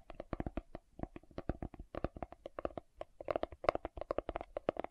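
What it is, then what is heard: Plastic jar lid tapped and scratched. Fingernails tap and scratch the lid of a green plastic aloe vera gel jar held facing the camera. The result is a rapid, uneven run of short, dry plastic clicks with a hollow midrange tone around 620 Hz. Each tap dies away almost instantly, with brief scratchy bursts in between.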